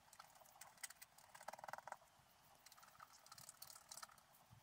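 A wooden stylus scratches lines into the black coating near the top edge of a scratch art sheet held flat by one hand. Quiet, dry, bright scratching strokes come in short bursts, with a quick run of sharper scrapes in the middle and almost no low end.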